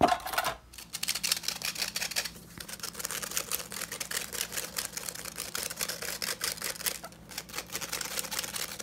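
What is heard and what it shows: Fingertips and nails quickly scratch and tap the fine metal mesh bowl and rim of a small, hollow, empty yellow plastic hand tea strainer. The result is a dense, bright, crackly rasping with rapid dry ticks and very little low end. It pauses briefly near the start and again just past the seven-second mark.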